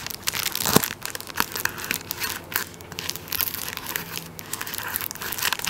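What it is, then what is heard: Plastic-wrapped tissue roll. A tissue paper roll in clear plastic wrap is held upright while fingertips scratch and tap the plastic over its top end. The result is a steady run of bright, crisp crinkling and rustling with quick, dry taps scattered through it.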